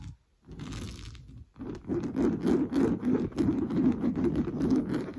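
Fingernails scratch fast and hard across an orange coarse-weave fabric sofa cushion. After a brief quiet start, a dry, rough scraping builds into rapid, uneven strokes. The sound has a dense low-mid rasp and short, non-ringing decays.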